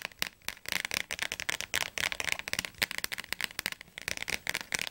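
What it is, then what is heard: Thick softcover dictionary. Long fingernails tap quickly on the glossy blue cover and edges of a thick, closed softcover Oxford Advanced Learner's Dictionary held in both hands. The result is a rapid, uneven run of sharp, dry clicks that are bright and thin, with almost no low end and no ring after each tap.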